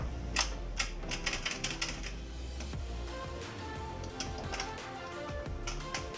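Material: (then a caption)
Metal. An old, worn metal door latch from a 2012–2020 Kia Rio, lacking its plastic coating, is shaken by hand, giving a series of sharp, bright metallic rattles and clacks over a steady low hum. The loose, cracked-sounding rattle marks the old latch as worn and due for replacement.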